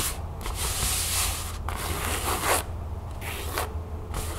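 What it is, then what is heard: Canvas pouch. Long fingernails scratch and tap across a flat, empty cream canvas pouch lying on a table. Bursts of bright, dry rasping come and go, with short quiet gaps between strokes, over a steady low hum.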